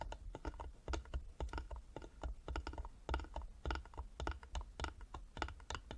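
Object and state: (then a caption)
Carved wooden box tapped with fingernails. Long nails tap rapidly on the sides of a small, hollow carved wooden box held in both hands. The taps come in quick, uneven bursts of short, dry clicks over a low, hollow thump, each dying away almost instantly.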